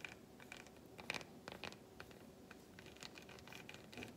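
A long fingernail scratches along the grooves of an unwrapped solid milk chocolate bar resting on the palm. The result is quiet, dry, bright scratching with quick ticking clicks and a faint thin tone around 2.4 kHz. A few strokes stand out louder than the rest.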